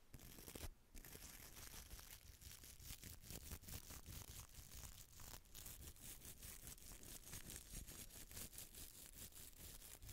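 A small hollow red glass bottle with a textured surface, held in the palm, is scratched with a small bristle brush and long nails. The result is a dense, continuous stream of bright, crackly scratching and brushing strokes over a low, soft rumble.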